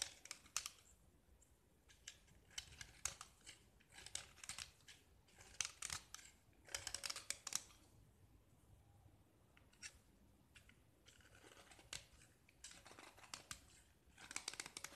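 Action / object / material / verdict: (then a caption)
scrape / painted gypsum block scraped with a metal knife blade / gypsum / none. A metal utility knife blade scrapes a small solid gypsum block, mostly bare white with black paint on the edges. Quiet, bright, gritty scraping strokes come in short bursts, with crisp crackles and almost no low end.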